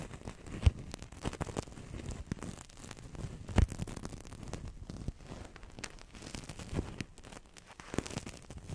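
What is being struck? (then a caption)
Thin-walled plastic-film toy bubble. A large, thin-walled, hollow blue translucent plastic-film toy bubble (Crystal Ball), empty and air-filled, is held over the microphone and squeezed and crinkled with long dark-painted nails and fingertips. The result is a steady, close, low-heavy crinkling and rustling with soft crackles, broken by two louder sharp snaps near the start and middle.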